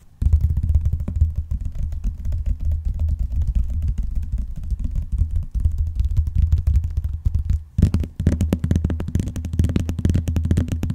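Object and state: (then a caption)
Vinyl-covered binder tapped and scratched. Fingernails tap and scratch along the front edge of a closed blue vinyl binder, then its top edge, then across the cover. The sound is a dense run of quick, dull, low thumps and scrapes with almost no ring. After a brief pause near the end, the tapping returns slightly fuller.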